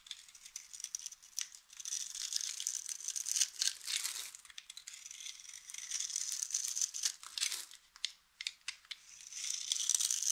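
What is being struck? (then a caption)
Bar of soap cut with a blade. A utility knife blade cuts scored cubes off the surface of a solid, hand-sized yellow bar of dry soap held in the hand, and the cubes crumble away. Dry, crisp crackling and crunching come in irregular bursts, all bright and high with no low end.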